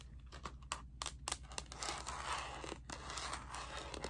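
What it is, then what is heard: Plastic calculator cover tapped and scratched. A handheld graphing calculator in its black hard plastic slide-on cover, held upright in one hand, has the back of the hollow plastic case tapped and scratched with long painted nails. Quick, dry clicking taps mix with continuous crinkly scratching, with a faint steady low hum underneath.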